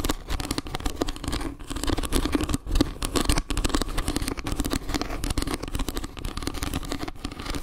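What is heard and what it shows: Long nails scratch quickly along the slices of a round wooden log-slice trivet, shown edge then face. The result is a dense, continuous run of rapid scratching and pattering with most of its energy low and a steady tone near 280 Hz, with almost no ring after each stroke.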